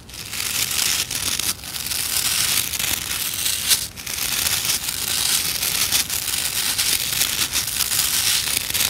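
Long nails scratch and flick along the rows of stiff nylon bristles on a white plastic scrub brush, making a dense, bright crackling scrape. The sound runs nearly continuously at a steady level with brief dips and sharp flicks, and it stays almost entirely in the high range.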